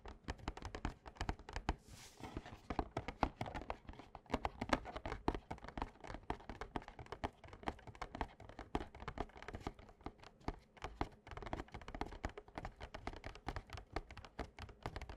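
Fingertips and short nails of both hands tap rapidly and continuously on a small, printed, glossy cardboard Yu-Gi-Oh Slifer structure deck box, a hollow box filled with cards lying flat on a playmat. The taps are quiet, short, dull thunks with a low, hollow body and very little brightness, each dying away almost instantly. A brief papery crinkling rustle rises near the two-second mark.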